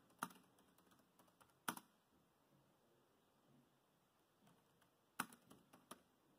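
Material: Plastic.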